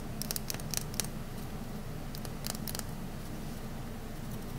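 A rectangular solid green olive-oil soap bar, held in the hand, has its edge shaved with a metal utility knife blade into dry, crunchy curls. Short, bright, crisp scraping crackles come in bursts over a steady low hum. The crunching is clustered in the first second and again around the middle of the clip.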